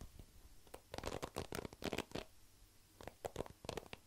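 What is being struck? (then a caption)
Plastic paddle hairbrush with plastic pin bristles. Fingertips and nails pluck and scratch along the plastic pin bristles of a black plastic paddle hairbrush with a solid head, held beside the microphone. Quick, dry, clicky plucks come in two flurries separated by a quieter pause. Each pluck is short and crisp, with a bright rasp over a soft midrange tone.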